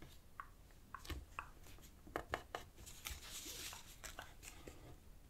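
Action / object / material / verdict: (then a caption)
scrape / thin paper sheet / paper / none. A thin, light-green strip of origami paper is folded on a black cloth table while fingertips and nails press and rub the creases flat. Quiet, crisp crinkles and short scratchy rubs come in uneven bursts, with a brief bright hiss of sliding paper near the middle. Each sound dies away almost at once.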